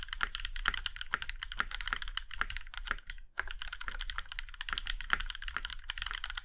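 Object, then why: Mechanical keyboard with metal case. Fingertips of both hands type on a compact Iron 165 mechanical keyboard with a plum-red aluminum case and black keycaps. Steady runs of short, crisp key taps sound with a bright clack centered around 1.4 kHz and a low thud beneath. There is a brief pause near the middle, and each tap dies away almost instantly.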